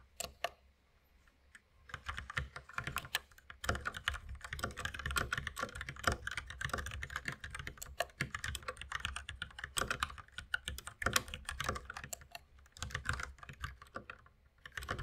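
Fast two-handed fingertip typing on a white compact mechanical keyboard with plastic keycaps and a red accent key, resting on a wooden desk. After a few scattered taps in the first two seconds, a dense, steady stream of crisp, clacky keystrokes with short, dry decays runs to the end.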